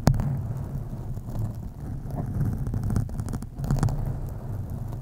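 Long acrylic nails on both hands scratch a black foam windscreen on a USB microphone. The result is a steady, deep, muffled rumbling rustle with occasional sharper scratches.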